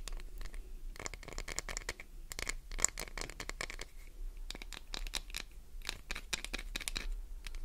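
Long nails scratch quickly and closely across a solid green Duru glycerin soap bar, making a rapid run of short, dry, bright scratching strokes. A steady low hum sits underneath throughout.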